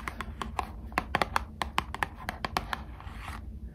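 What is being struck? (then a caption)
Small printed cardboard box. Long acrylic nails tap and scratch a small printed cardboard box of Squishmallows trading cards, which appears sealed and full and is held in both hands. About 15 quick, crisp clicking taps with a hollow cardboard tone around 800 Hz sound over a faint scratching hiss, and the taps die away almost instantly.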